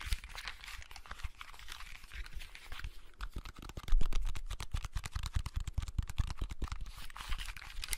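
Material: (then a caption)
Plastic. A small, hollow blue plastic clamshell handheld game console in the Game Boy Advance SP style is held in both hands close to the mic while fingertips and nails tap, press and scratch its shell and buttons. A soft, scratchy, bright rustle fills the first few seconds, then dense, crisp plastic taps and clicks grow louder and sharper from about the four-second mark, with a low thump under each hit.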